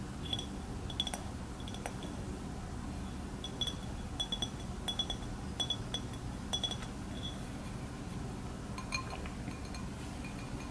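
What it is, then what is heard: Glass bowl. An empty, clear, hollow glass bowl of medium size, held up in both hands, is tapped and clinked with fingernails and fingertips while being turned. Short, bright glassy clinks with a ring near 3.4 kHz come in scattered clusters and fade quickly. A steady low hum sits underneath throughout.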